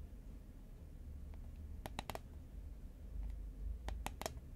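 A green Pringles paperboard chip can, hollow and held horizontally in both hands, is tapped with long nails. Short, dry, bright clicks come in two quick clusters over a low, steady rumble, each tap dying away almost at once.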